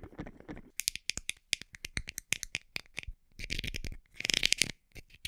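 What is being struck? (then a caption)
Plastic supplement bottle. A small, hollow white plastic supplement bottle, likely filled with capsules, is tapped with long nails and turned in the hand. A rapid series of sharp, bright clicking taps stops dead with no ring, separated by brief quiet gaps. A denser, rattling burst of taps comes near the end.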